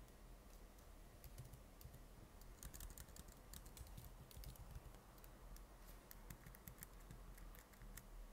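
Fingertips type continuously on the plastic keys of a silver laptop keyboard, making dense, quick, dry clicks with bright tips and almost no ring. The tapping stays quiet and steady over a low, constant hum for the whole clip.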